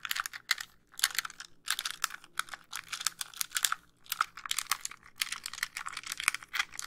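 Long nails tap and scratch across the front casing of a white, hollow plastic handheld game console. The result is rapid, dry clicks and scratchy bursts that are bright and high, with almost no low end and no ring after each touch.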